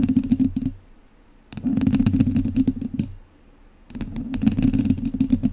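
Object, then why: Metal wire-mesh microphone grille scratched with wooden chopsticks. The tips of two wooden chopsticks scratch directly across the hollow, dome-shaped metal wire-mesh grille of a large studio microphone. Three bursts of rapid, uneven scratching and clicking come through as a dense low rumble with brief bright ticks, separated by short quiet pauses.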